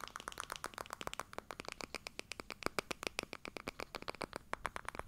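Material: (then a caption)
Plastic. A medium, hollow, pale pink plastic baby powder bottle with a pink cap is rubbed and scratched with fingertips and palms close to the mic. Dozens of quick, dry, crackly scratches and taps come in a rapid, uneven stream. Each is bright and clicky with almost no ring, over a soft hollow rubbing.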